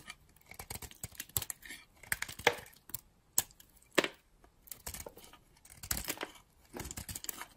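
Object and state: Bar of soap being cut.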